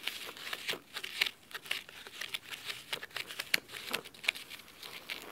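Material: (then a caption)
Cloth. Fingernails scratch the cloth spine and then the top cover of a blue cloth-bound hardcover book resting on a wooden table. The sound is a quiet run of dry, crisp, high-pitched scratching strokes with almost no low end, each stroke short and fading quickly.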